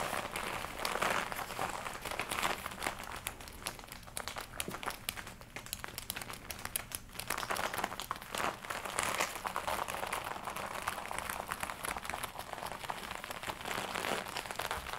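A glossy black leather jacket worn on the body is scratched with long nails across the upper arms and chest, hands crossed over the body. The result is a continuous dense crinkling and scratching texture, bright and mid-focused with little low end, rising and falling in waves of intensity for the whole clip.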